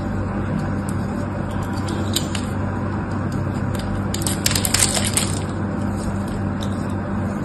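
A small metal knife scrapes and carves crumbly flakes from the end of a solid, dry pink bar of soap held in one hand. Soft, bright crackling scrapes ride over a steady low hum, with a denser cluster of crisp crumbling sounds in the middle.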